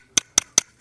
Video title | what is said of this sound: WOMD 48 l Luxury Watch Boxes and Cases: It's All About Presentation | you can't really get the sound off this thing when you tap it against my mic